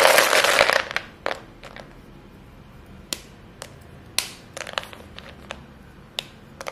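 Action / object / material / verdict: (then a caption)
scrape / pile of white chalk sticks / chalk / none. Chalk-dusted hands with short painted nails dig into a heap of short solid white chalk stick pieces in a clear bowl, squeezing and crushing them. A loud, dense crumbling crunch fills the first second, then fades into a run of separate sharp, bright cracks and snaps as the pieces break.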